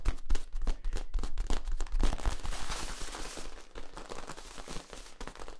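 Fingertips scratch and tap along the ridges of a long, hollow, flexible yellow ribbed plastic tube with a capped end, held across the body. Quick, uneven taps, about four per second, give short hollow thumps with a deep low resonance and a bright scratchy edge. The tapping is loudest early on, then eases into softer scratching toward the end.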